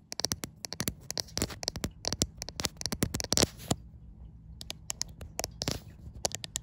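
Long white acrylic nails tap and scratch the glass back of a white iPhone near the camera, seen in a mirror. Quick, sharp, bright clicks come in irregular bursts, mixed with brief scraping textures and quiet pauses between.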